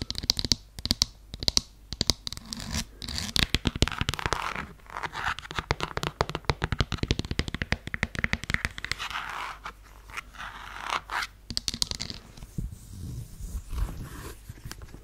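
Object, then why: Faux suede heeled sandal. Long nails scratch and rub the suede-look surface of a beige faux suede heeled sandal, a strappy shoe with a buckle strap, close to the mic. Dense, dry scratching and brushing with sharp clicks comes in quick bursts, heavy in high, bright hiss over a soft low rumble.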